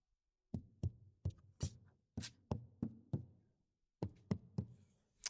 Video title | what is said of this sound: Luxury Car Quiet? Soundproofing a Golf Mk7.5 with Noisekillers | obviously you can still hear sound. You're never going to get rid of that. But what it's doing here is it's taking away that vibration.